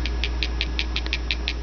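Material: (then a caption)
Granite. A piece of countertop granite, melted with a torch and cooled to a black, glossy surface, is tapped 11 times in quick, even succession, each tap giving a short, bright click over a steady low hum. The tapping confirms the surface has turned to glass.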